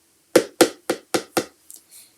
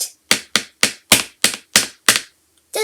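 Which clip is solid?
The second.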